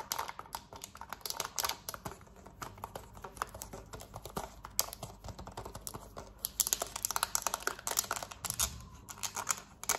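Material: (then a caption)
Plastic. Long nails tap rapidly on the buttons of a black plastic TV remote, then scratch its smooth plastic back, making dense, bright, dry clicks and short scraping bursts that barely ring. The tapping is fast and steady throughout, with a low hum underneath.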